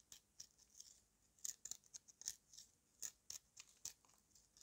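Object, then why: Dried clay mud chunk. A yellow-handled knife carves and scrapes the edge of a solid chunk of dried red mud held in a hand, and dust falls away. Around fifteen short, crisp, bright scraping crunches come at an uneven pace, with almost no low end and no ring after each stroke.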